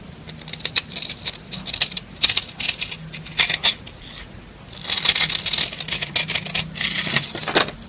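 A metal knife blade with a green handle scrapes and crumbles the surface of a solid, porous, dry pink rectangular soap bar held in the hand. Bright, crisp scratching bursts and crumbly crackles come in quick uneven clusters, with a faint low hum beneath and a denser, continuous stretch of scraping toward the end.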